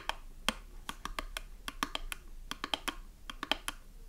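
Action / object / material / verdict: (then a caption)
tap / small cardboard soap box with a bar inside / cardboard / none. Long nails tap quickly on the side panel and the flap of a small cardboard soap box with a bar inside. About nineteen short, dry clicks with a bright edge come in an uneven, rapid pattern, each dying away almost at once.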